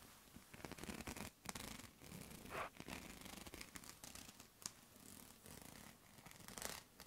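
Fingertips and nails scratch and tap along the thin ridged rods of a light lilac, hollow-looking plastic clothes hanger held in both hands close up. The result is a fast, dry, raspy scratching texture with bright, crisp clicks and short quiet gaps between bursts.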